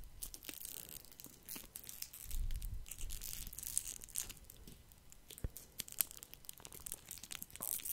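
A single small foil-wrapped chocolate truffle in a red plastic and foil twist wrapper is held between fingers while the fingers crinkle the wrapper. Quiet, dense crackles and sharp ticks of bright crinkling run throughout, with a soft low rumble swelling in the middle.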